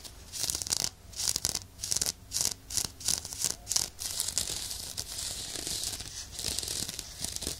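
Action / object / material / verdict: scrape / woven nylon exfoliating glove / nylon / none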